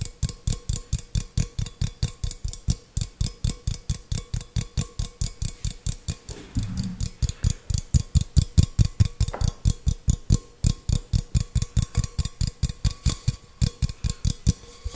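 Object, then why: Small stainless steel cup. Fingertips and nails tap and scratch a small, hollow, empty stainless steel tumbler. A fast, steady run of short, dry taps with low, hollow thumps and bright clicky tops continues throughout, with a brief scratchy smear around the middle.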